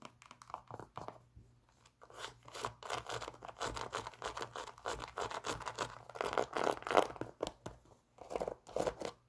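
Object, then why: Synthetic leather and mesh sneaker. A white Nike Air Max 97 running shoe with a synthetic leather and mesh upper and a plastic air sole, hollow and empty, is held in the hands and scratched and tapped with long acrylic nails. Rapid, irregular, dry scratching and clicking taps come in dense bursts with a crinkly midrange texture, separated by brief quiet pauses.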